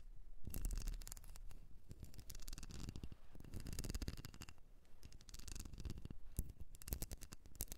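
Long nails scratch across the ridges of a small, solid blue wax candle shaped like a ribbed seashell, held in the hand. The result is a dense run of quick, crackly scratches and clicks with no ringing, quiet overall and weighted toward a low rumble.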